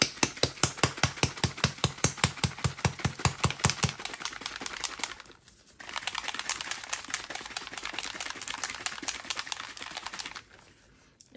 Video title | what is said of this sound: 49. Comparing Unicone and Let’s Resin to Naked Fusion - Petri Trays | you have to shake it until you hear the ball